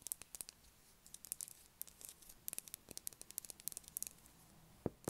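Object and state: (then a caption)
Bar of soap. Long acrylic nails tap a solid blue, unwrapped, palm-sized Dettol soap bar, held in hand and then placed on a table. The result is a quiet, rapid series of crisp, dry clicks and light scratchy ticks with almost no ring. A slightly fuller, lower knock comes near the end.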